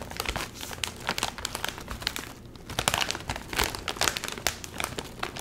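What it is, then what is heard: Metallized plastic chip bag being crinkled. A full Doritos chip bag made of metallized plastic film is handled, crinkled and squeezed by the fingers while lifted close to the face. The result is a dense stream of sharp, bright crackles and crinkles with very little low end. The crackling eases briefly at about two and a half seconds before picking back up.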